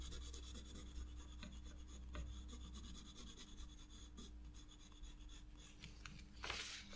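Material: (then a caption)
Paper. A black pencil shades flower petals on spiral sketchbook drawing paper with repeated hatching strokes, scratching across the page. The quiet, dry rasping of the strokes sits over a steady low hum, and one brighter, louder scratch comes near the end.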